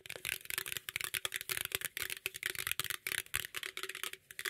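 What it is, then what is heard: Aluminum drink can, hollow. Fingernails and fingertips rapidly scratch and tap a green aluminum beverage can, turned to show its silver bottom and top. The quick, irregular bursts of bright, crackly scraping and short, dry taps give the metal a hollow sound, with almost no ring after each hit.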